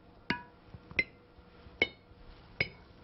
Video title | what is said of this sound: How To Make Jam and Jelly At Home | You can hear that clear ringing sound. Tells me that the jars are in good shape and they're completely sealed.